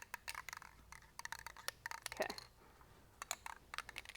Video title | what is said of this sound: Dye Penetrant Kit test to find leaks, cracks, holes, etc for your weld repairs | once you shake it up really good can you hear that rattle going